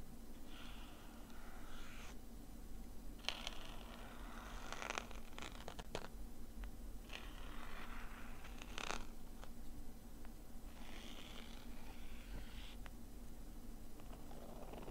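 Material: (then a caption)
Nylon fabric. A thin, pointed metal tool scratches the inner fabric lining of an opened black nylon zip case lying flat. Quiet bursts of dry, rasping scratches come in repeated strokes, with brief bright scrapes over a steady low hum.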